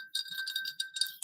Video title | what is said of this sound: NightSchool: The Study of Humanity | this toad rattle is meant to emulate the mating call or the croaking that the mayans would hear